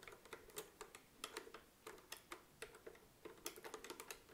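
A desk-sized, hollow vintage mechanical adding machine with a dark brown bakelite body, a green key panel and round yellow and red plastic keys is tapped and pressed with long acrylic nails and fingertips, which also tap the panel. The result is a quick, irregular run of light, dry clicks and taps, each with a hollow mid tone around 430 Hz and a bright, crisp top, fading almost instantly.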